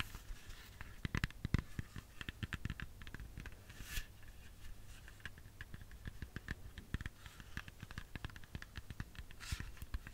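Long fingernails tap and scratch a whole, solid red apple, giving a quiet, steady run of short dry clicks and brief scraping strokes. The taps are crisp with almost no ring, over a faint low hum.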